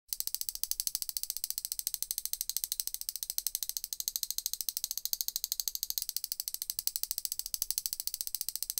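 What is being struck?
Stainless steel forks.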